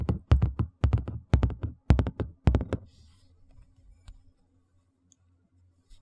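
A large, thin, empty white plastic tray is held edge-on and tapped and scratched along the rim with fingertips and nails. Quick clusters of dull, low, hollow thumps come first, then give way to faint, soft scratching that fades to near silence with a few small ticks.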